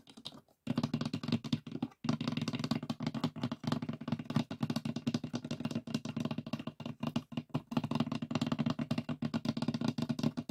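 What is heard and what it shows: Fingertips of both hands rapidly tap the lid of a closed, hollow, light pine wooden box with a metal latch. The dense, continuous patter of short, dry knocks has a hollow, low-mid resonance, with a brief pause near the start and another around two seconds.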